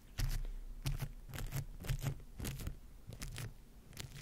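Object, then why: Microphone covered in plastic wrap, brushed with a bristle brush. A bristle face brush is rubbed over a microphone tightly covered in clear plastic wrap. Irregular bursts of crinkly, scratchy brushing repeat across the clip, with bright crackle on top of a heavy, muffled low-end rumble from each stroke.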